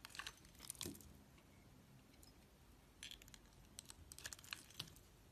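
A hand with long nails holds a solid, pre-scored red square soap block and cuts and scrapes it into flakes with a metal utility knife blade. Bright, crisp scraping and crunching clicks come in two clusters, one at the start and one in the second half, with a few sharper snaps between them.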